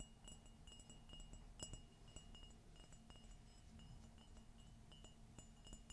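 An empty white glossy ceramic coffee mug with a gold Minnie silhouette is tilted and tapped with long fingernails. The taps give a quick, bright ringing tone like a small chime over a soft low rumble.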